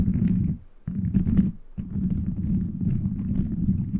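Fingertips quickly tap and scratch a beaded plastic gummy-bear cover fitted over a microphone. The result is a dense, low, rumbling patter of clicks centered near 190 Hz, with almost no bright content. It drops quiet briefly twice, around 0.6 s and 1.6 s.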